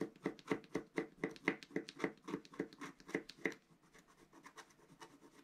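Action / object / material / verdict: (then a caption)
scrape / black-coated scratch art paper scratched with a wooden stylus / coated paper / none. A pointed wooden stylus scratches near the top edge of a flat, black-coated scratch art paper sheet lying on a table, while the other hand holds the sheet flat. A quick, fairly regular series of short, dry scratching strokes is heard, with a papery midrange body and a light bright hiss. The strokes are strong for the first three and a half seconds, then continue more softly to the end.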